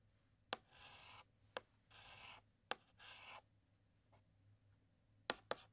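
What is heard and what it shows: A white chalk stick makes short, repeated hatching strokes inside the letter S on a large, flat black chalkboard. Six sharp taps of chalk meeting the board ring out, three of them followed by half-second bright, scratchy rasps. A faint low hum sits underneath.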